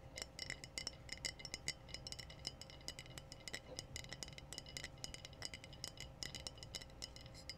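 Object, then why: Glass wine bottle. Long blue nails tap and scratch a clear glass wine bottle with a foil-capped neck, which appears empty. A rapid, uneven run of short, bright clinks rings briefly around 2 kHz over a faint low rumble.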